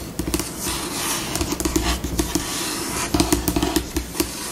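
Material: Laminate.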